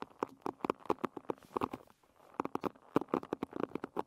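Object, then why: Wooden pin bristle hairbrush. Long red nails scratch and pluck the wooden pins of a wooden pin bristle hairbrush, held edge-on with its bristles up. The result is a quick series of dry, woody plucks and ticks centered in the low mids, with a short pause near the middle.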